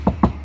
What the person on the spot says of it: у нас уже более глухой звук образовался